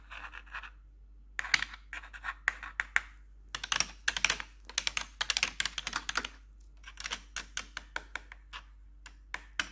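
Metal claw nail tips on a gloved hand scratch and tap the keycaps of a black plastic computer keyboard with blue backlight. The result is a quick series of sharp, bright clicks and raspy scratching bursts with very short decay, separated by brief pauses.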